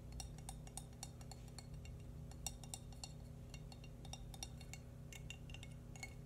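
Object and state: Ceramic baby shoe.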